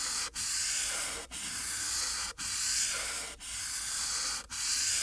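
The felt tip of a marker rubs back and forth across a thin white paper sheet lying flat on a dark board while coloring a green apple. Six long, scratchy strokes are each separated by a brief pause and carry a steady, bright hiss with almost no low end.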